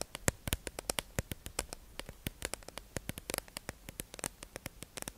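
A hollow, clear plastic tube-shaped package holding makeup sponges is held in the hand and tapped and scratched with long acrylic nails. About 33 quick, sharp, bright clicks come in an uneven, rapid rhythm, each dying away almost instantly. A faint hiss of scratching runs between them.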